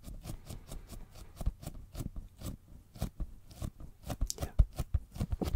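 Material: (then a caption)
Leather. A hollow brown embossed leather zip pouch is held close to the microphone and tapped with fingertips. The result is a quick, irregular run of soft, dull taps with a heavy low thump, each carrying a brief crisp, crackly edge that dies away almost instantly.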